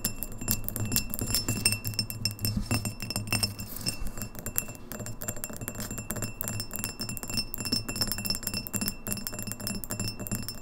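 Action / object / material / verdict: tap / empty glass pint glass / glass / none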